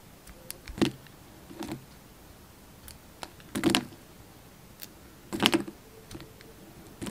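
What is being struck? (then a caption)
Bar of soap cut with a knife blade. A hand-sized solid Palmolive bar soap, purple outside and pink inside, is held in the hand and sliced and shaved with a utility knife blade. Short, crisp scraping and cutting bursts come at irregular intervals, with a bright edge, over quiet background hiss.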